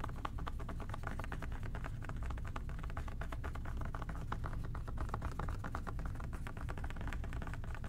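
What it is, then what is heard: Plastic spray bottle. Fingertips and short nails tap fast on a hollow plastic OxiClean spray bottle with a white trigger top, held in both hands. Quick, dry, clicky taps run together in a steady stream at a constant level, with a low rumble underneath throughout.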